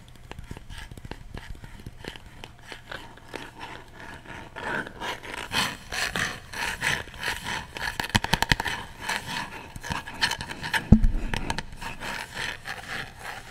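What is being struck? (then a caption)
Small light wooden box. A hand-sized, coffin-shaped box of light unfinished wood with a printed design, likely hollow, is held in one hand close to the mic and tapped and scratched with the fingertips and nails of the other. Soft dry scratching and light tapping at first give way to louder, quick wooden taps and rustles from midway. One sharper, heavier knock near the end carries a low thud.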